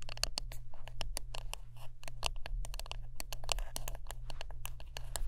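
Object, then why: Wooden brush. A wooden brush is tapped and scratched up close, giving a dense run of short, sharp, dry clicks and scrapes with bright high tones. A steady low hum sits beneath the brief, fast-decaying hits.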